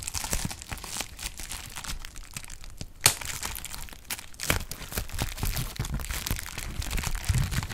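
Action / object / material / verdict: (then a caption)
scrape / plastic bubble wrap sheet / plastic / none. A clear plastic bubble wrap sheet is crinkled and its bubbles are popped with fingertips. A steady, dense crackle of short, bright snaps runs over a low rumble, and a few sharper, louder pops stand out, one near the three-second mark and another around four and a half seconds.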